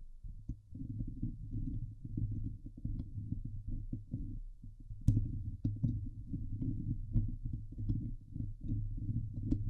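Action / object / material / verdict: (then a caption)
scrape / steel mesh microphone grille / steel mesh / none. Long nails of both hands scratch the sides of the hollow steel mesh dome grille of a Blue Yeti microphone. The result is a dense, continuous, boomy rumble of rapid scratching, almost all of it deep and low. Occasional sharper clicks flick up into the high range.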